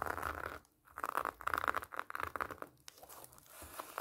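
Long nails scratch across the orange plastic mesh netting wrapped around a large whole pomelo, rubbing against the rind beneath. The result is a run of dry, raspy scratching and crinkling bursts centered in the midrange, with a brief quiet gap early on before the strokes resume in quick, uneven scrapes.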